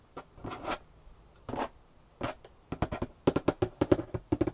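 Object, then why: Corrugated cardboard box. Long painted nails scratch across the top flaps of a large, empty corrugated cardboard box lying flat on a table, making several soft, breathy scrapes. These give way to a quick run of crisp, dry taps on the cardboard. The taps have a hollow, papery knock and die away almost instantly.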